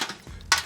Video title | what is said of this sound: I Tried the Internet’s Crispiest Recipes… Worth It? | Can you hear how crispy it is?